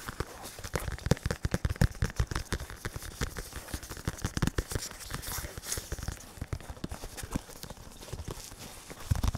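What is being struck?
Foam-padded synthetic leather focus mitt.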